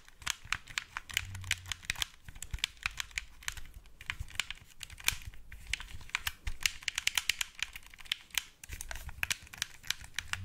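A black wired Xbox 360 plastic controller, hand-sized and hollow, is held in both hands in front of the mic while fingertips tap and click its buttons and shell. It makes a rapid, uneven stream of sharp, dry plastic clicks that are bright and centred around 2.8 kHz. Each click dies almost instantly over a faint low rumble.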